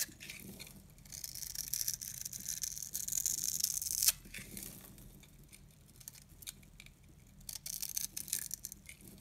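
A metal box-cutter blade scrapes and carves a solid, hand-sized orange oval bar of dry soap held in the palm, shaving off cube-shaped crumbs. Bright, crisp scraping and crunching fill the first four seconds, end in a sharp crack, then return after a quieter stretch as short, high, dry scrapes.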